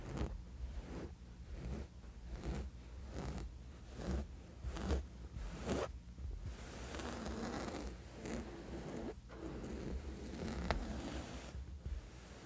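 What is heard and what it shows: The textured woven fabric surface of a sleep mask is scratched slowly with the fingernails of both hands. It produces soft, rasping, zipper-like strokes in a loose rhythm over a low, steady rumble. The strokes are more distinct at first and later blur into a denser, continuous scratching.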